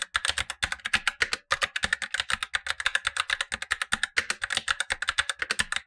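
Blue-gloved fingertips type quickly on a Razer BlackWidow Lite, a tenkeyless mechanical keyboard with black plastic keycaps and tactile switches, the upper of two keyboards, while the lower keyboard stays untouched. A fast, steady run of short, crisp plastic clacks centers around 1.9 kHz with bright upper edges, each dying almost instantly, with very little low-end thump.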